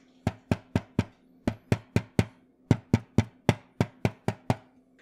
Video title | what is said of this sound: YUNZII Keynovo IF98: Full Overview and Sound Test | it does sound a little bit rattly and that's because on the inside I've opened it up and there's nothing underneath there's no silicone there's no foam